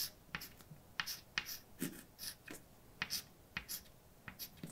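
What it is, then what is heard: Chalk writing on a chalkboard. A hand holding white chalk writes letters on a large, dark, solid flat blackboard. The chalk makes a series of short, sharp taps and brief bright scratches, with quiet pauses between strokes.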